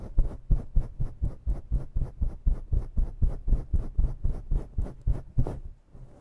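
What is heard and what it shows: Long nails scratch a synthetic faux fur microphone windscreen with both hands, in fast, steady strokes. About 22 scratches come at roughly four per second, each a deep, muffled rumbling thump with a faint bright hiss on top. The strokes fade out near the end.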